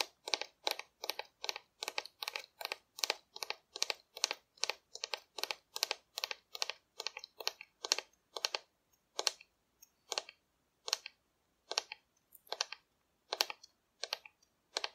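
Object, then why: Cardboard dinosaur model. Long nail tips tap rapidly on the back of a hollow painted cardboard dinosaur held upright. The result is a steady stream of dry, bright, crackly clicks with no low end, which thins out into more widely spaced taps in the second half.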